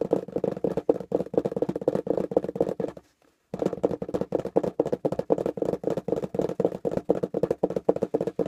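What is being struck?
Corrugated cardboard box.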